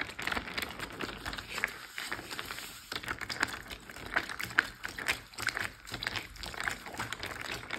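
A clear Ziploc bag full of water rests on a teal surface while hands squeeze and crinkle the plastic, then pat and tap it with fingertips and nails. A dense stream of bright, crisp crinkles and short, dry taps runs throughout, with little low end and no ringing after each touch.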